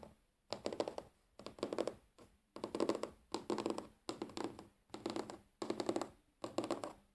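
Fingernails tap rapidly on a large, solid, flat wooden tabletop, sometimes close to the microphone. The taps come in quick clustered bursts separated by short pauses, giving a dry, clicky sound with a woody body around the low-mid range, bright edges, and almost no ring.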